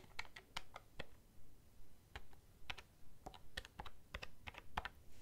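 Fingernails tap the keys of a black plastic desk calculator held upright, making 19 short, dry, bright clicks at an uneven pace. After a quick run of taps there is a pause of about a second before the tapping resumes.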